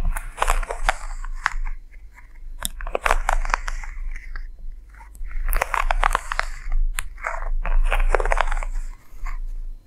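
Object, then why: Quilted leather handbag. Long nails and fingertips scratch and tap the quilted top flap of a medium, hollow, closed red quilted leather (or faux leather) handbag resting on a table close by. Bursts of dry, crunchy scratching alternate with quick, sharp taps in an uneven rhythm, with brief quiet gaps between passes.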